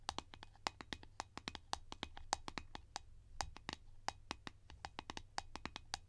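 Long painted nails tap and scratch the surface of a round blue plastic Nivea cream container lid held in the hands. About 38 short, crisp clicks in quick, uneven succession, each with a hollow plastic tone near 800 Hz and a bright edge that dies away at once, over a faint low hum and soft scratching between taps.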